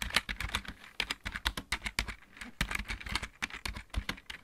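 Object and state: Plastic mechanical keyboard being typed on.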